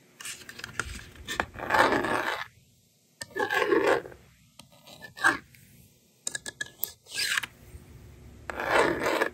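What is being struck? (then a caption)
Plastic magnetic drawing board and stylus. A yellow plastic stylus scratches numbers onto the honeycomb screen of a blue and pink plastic magnetic drawing board held in one hand, and the screen is then wiped clean with the slider. Bursts of dry, raspy scratching alternate with short quick taps and quiet pauses. The sound is mostly mid-pitched with a bright, airy edge.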